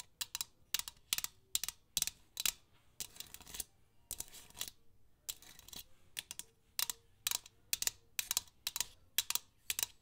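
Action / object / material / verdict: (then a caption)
tap / painted metal tin / metal / none. Long acrylic nails tap and scratch a tall, hollow, painted metal tin shaped like a nutcracker soldier, lying on its side on a red cloth with its contents not visible. Quick, bright clicky taps come in short clusters, broken by a few brief stretches of dry, hissy scratching. Each tap stops almost at once, with very little low end and no lingering ring.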